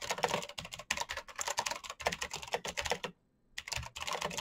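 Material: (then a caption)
Plastic. Fingertips type quickly on a full-size black plastic Razer mechanical keyboard with clicky green switches and RGB backlight. A rapid stream of sharp, bright clicks and clacks runs continuously, breaking for a brief silence near the three-second mark before resuming.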